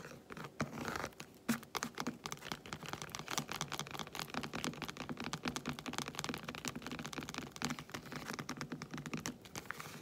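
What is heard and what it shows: Long white acrylic nails tap fast on the squares of a solid, segmented milk chocolate bar lying flat close by. A dense, quick run of small, dry clicks with brief scratchy touches sounds much like typing on a keyboard, each click dying away almost at once.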